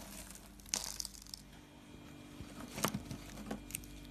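Pink rolled dry soap curls are picked up and crushed in the hand with the fingers. Short, bright, crinkly crunches and snaps come in scattered bursts over a quiet background with a faint low hum.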